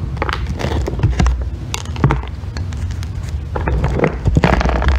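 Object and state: Bar of soap being shaved.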